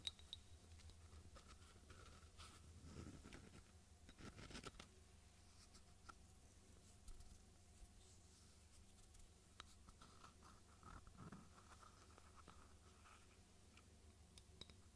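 A small, hollow white ceramic cup with blue dots, apparently empty, is held in one hand and tapped and scratched with long fingernails. Quiet, short clicks and scratchy rustles ring briefly with a bright edge over a low, steady background hum.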